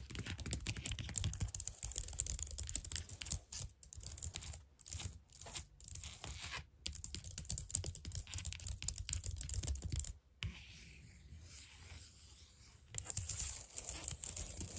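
Long nails type and tap rapidly on the keys of a white plastic computer keyboard, producing dense, bright, clicky keystrokes with a low thump under each press and only brief pauses. Around the tenth second the clicking gives way to a quieter, softer stretch before the fast tapping returns.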